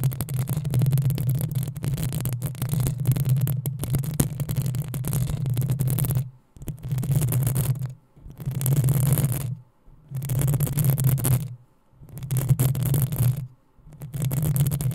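Long acrylic nails of both hands scratch the rounded, hollow metal mesh grille of a black USB condenser microphone. The result is a dense, rasping scratch with a heavy low rumble underneath. It runs continuously for about six seconds, then comes in five bursts separated by brief silences.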